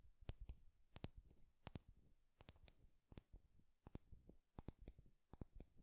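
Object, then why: Wooden hairbrush. Fingertips and nails scratch and stroke across the wooden bristle pins of an oval wooden hairbrush and tap along its solid wooden handle. Quiet, dry, short clicks and taps sound in an uneven series, with soft low thuds beneath and faint scratchy rustle between them.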